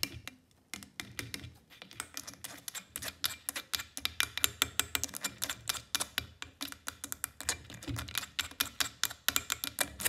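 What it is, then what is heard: Plastic water bottle tapped with long nails. Long fake nails tap and click rapidly on the neck and sides of a clear plastic Tesco water bottle that is partly filled with water. The result is a steady stream of sharp, bright, dry clicks with almost no ring and little low end.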